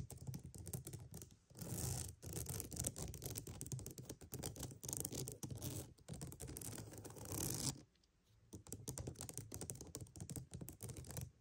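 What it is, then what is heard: Wooden mat tapped and scratched. A wooden mat is tapped and scratched in quick, dense bursts, giving crackly, rustling scratches with soft low thuds underneath and bright brushing noise on top. The scratching runs nearly continuously with brief pauses, including a short quiet gap near the end before it resumes.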